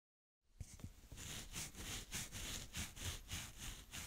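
A blue plastic spade rakes a mound of brown kinetic sand in slow strokes, leaving ridges. Quiet, gritty scraping swishes repeat in an uneven rhythm after a brief silence, with a soft low rumble beneath a bright hiss.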